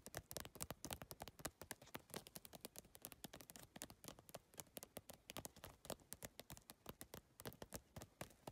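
Long nails tap quickly across the iridescent plastic PVC tile panels of a holographic geometric handbag. The result is a dense, continuous run of short, dry clicks that stop almost at once, with a bright, crisp edge and a light, hollow low knock.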